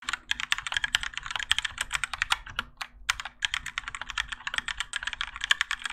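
Fingertips of both hands type continuously on a Keychron K4 compact mechanical keyboard with Gateron Yellow switches, grey and orange ABS plastic keycaps, and a plastic and metal case, resting on a desk mat. A dense stream of short, bright clacks runs throughout, with a brief pause just before the midpoint, over a faint steady low hum.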